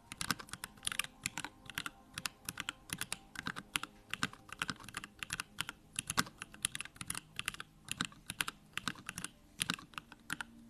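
Fingertips of both hands type steadily on a backlit Bakeneko65 mechanical keyboard with plastic keycaps and Durock lavender switches. It gives a rapid run of crisp, bright keystroke clacks, each dying away almost instantly, with a faint low hum underneath.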